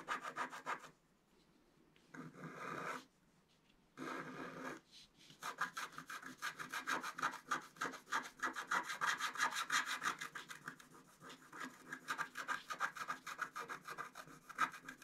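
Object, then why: Black-coated scratch art paper card scratched with a wooden stylus. A wooden stylus scratches and rubs larger areas of the coating on a flat black-coated scratch art card. Short bursts of dry rasping, separated by brief silences, give way after about five seconds to a steady run of quick, repeated scratching strokes with a bright, papery texture that continues to the end.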